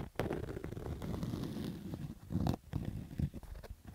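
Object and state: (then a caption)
Fabric baseball cap being scratched. Fingertips and nails scratch a black stitched fabric baseball cap with a hollow crown and stitched brim, lying on orange carpet. The result is a dull, muffled rasping, mostly low and boomy, with a steady rough texture broken by short louder scrapes and quick thumps.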